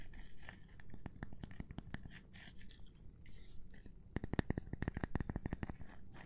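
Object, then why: Cork board. A gloved hand taps on a cork board, making quick, dull, muted taps with almost no ring. The taps come in an irregular run, then cluster into a faster, slightly louder burst toward the end.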